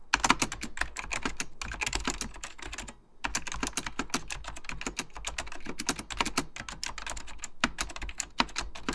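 Fingertips of both hands type rapidly on a full-size beige plastic Apple Extended Keyboard II with mechanical key switches. The result is a dense, steady stream of short, crisp clicks and clacks with a low thump under each keystroke and a bright top. There is a brief pause around the three-second mark before typing resumes.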